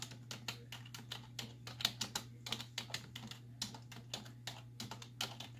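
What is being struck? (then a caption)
Plastic computer keyboard. Long nails and fingertips rapidly press the hollow keys of a black plastic computer keyboard on a wooden desk, giving about 27 short, bright, clicky taps that stop almost instantly. A steady low hum runs underneath throughout.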